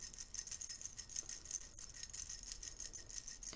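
A stack of about seven thin silver metal curtain rings, held in both hands, is shaken and jangled against each other with the fingers. The result is a quiet, continuous, bright tinkling of rapid metallic clinks, each dying away almost instantly, with very little low end.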